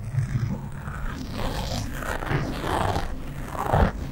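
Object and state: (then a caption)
Foam microphone windscreen being scratched. Long nails of both hands scratch across a black foam windscreen on a microphone, fast and slow. The result is a continuous muffled scratching and rustling with a heavy low rumble and little high brightness, swelling into louder scrapes near the end.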